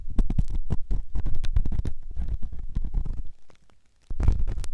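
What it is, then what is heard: Silicone ear of binaural microphone. A metal ear pick scrapes inside the ear canal of a white solid silicone ear on a binaural microphone, producing dense, close scratching and rubbing with heavy low-frequency thumps. A brief near-silent pause breaks the scraping before it resumes.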